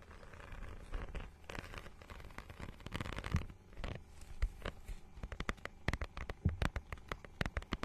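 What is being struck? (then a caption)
Plastic book cover with a ridged, scale-like surface. Long nails scratch across the holographic, scale-textured plastic cover of a notebook-sized book held flat. The first half is a dense, crackly rasping with a dull low body. It then breaks into sharper, quick scratchy ticks with bright edges that stop almost instantly.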